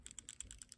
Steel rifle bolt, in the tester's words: You can hear everything rattling as I shake it. If I open it up again, you can hear it even more.